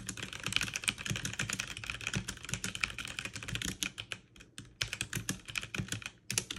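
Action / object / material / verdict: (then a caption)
tap / plastic mechanical keyboard keys / plastic / none. Both hands type fast on a backlit full-size mechanical keyboard with plastic keycaps, pressing keys with fingertips and long painted nails. Rapid, bright clicking clatter runs almost continuously, with a brief pause just past the midpoint before the quick key presses resume.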